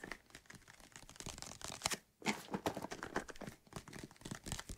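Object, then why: Plastic bottle holding soapy liquid. A white plastic bottle of soapy water is held close and tilted while fingertips tap and scratch its sides. The result is a steady run of quick, dry crinkly scratches and soft taps with bright edges, broken by a short hush near the middle.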